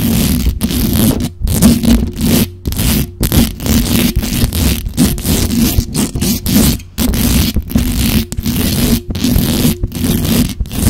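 Long dark-red acrylic nails scratch rapidly over the top and sides of the hollow metal mesh grille of a black condenser microphone. Dense, rough scraping bursts carry a heavy low rumble and a faint steady tone around 230 Hz, with bright hiss above, broken by brief silent gaps.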